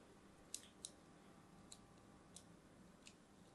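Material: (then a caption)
Soap. A thin metal blade scores diagonal lines into a pink-and-white striped solid bar of soap held in the hand. Five short, bright, crisp scratches sound at uneven intervals over a low, steady hiss, each one dying away almost instantly.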